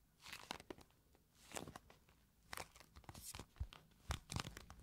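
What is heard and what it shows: Long nails scratch and tap the faces of a small, hollow, pink printed cardboard box of oil blotting papers. Dry, papery bursts of scratching alternate with sharp, bright taps that have a low hollow thump beneath them. Each sound stops almost instantly with no ring.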